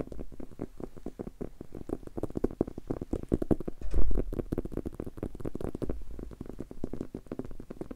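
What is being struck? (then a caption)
Leather-covered book. A solid, maroon leather-covered book held in the hands is tapped rapidly on its cover with fingertips and short nails. The result is a dense, continuous patter of soft, dull, low thuds that die away almost instantly, with no bright highs and a slightly heavier burst of taps near the middle.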